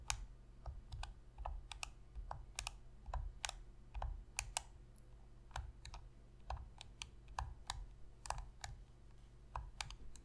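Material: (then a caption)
Plastic. Long pink fingernails tap the face and buttons of a black Sony PlayStation 3 controller, a hollow plastic controller lying on a table. About 29 short, sharp clicks sound with bright tips and almost no ring, over a steady low hum.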